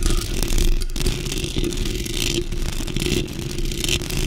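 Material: Metal mesh.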